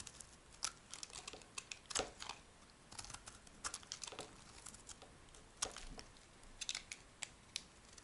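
A hand-held, rectangular, solid tan soap bar is shaved with a metal knife blade. Quiet, crisp, bright scraping and crinkling strokes come in irregular bursts, each short and dry with almost no low end.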